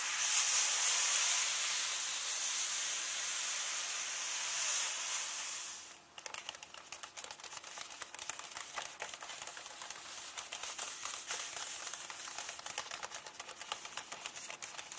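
Fingertips and nails scratch and tap the text pages of a large open hardcover book of Kull lying on a table, with both hands resting on the paper. A steady, bright, hissing scratch fills the first six seconds. It then gives way to rapid, even, crisp tapping at about four taps per second.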